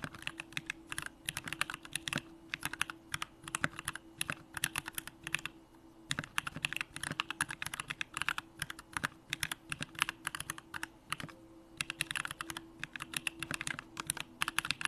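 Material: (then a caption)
Plastic, aluminum. A Bakeneko65 65% mechanical keyboard with a hollow aluminum case, Durock lavender switches and pink plastic keycaps is typed on continuously with the fingertips. Rapid, bright, short clacks with almost no ring come in quick bursts and brief pauses, over a faint steady hum.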